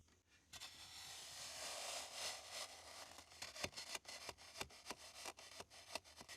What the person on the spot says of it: quand la pelle frappe ici et que ça sonne comme ça, c'est qu'on a trouvé un morceau de quelque chose